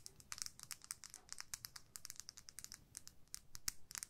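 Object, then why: Small plastic lip gloss tube. Long nails tap and scratch along a small, hollow, clear plastic lip gloss tube with pink product and a purple cap, held in the fingertips. A rapid, uneven stream of quiet, bright plastic clicks and crinkly scrapes follows, each one dry and dying away almost instantly.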